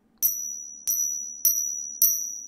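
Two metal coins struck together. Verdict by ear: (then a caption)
Fake. Two counterfeit silver coins are struck against each other four times in a ping test, each strike giving a bright, high metallic ping that rings and fades steadily until the next. This sound is one of the two main signs marking the coins as false compared with real silver coins.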